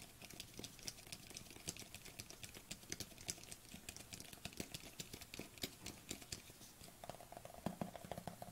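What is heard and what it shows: Long fingernails tap quickly on the lid and side of a small white plastic supplement tub with a white lid, held in the hands. A rapid, quiet patter of short, bright clicks follows, each stopping almost at once with no ring.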